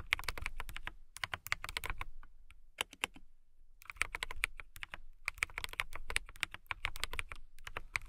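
Long-nailed fingertips type on a transparent mechanical keyboard with clear plastic keycaps. Bursts of quick, bright clicky taps are broken by short pauses, and each tap stops dead with a dull low thump underneath.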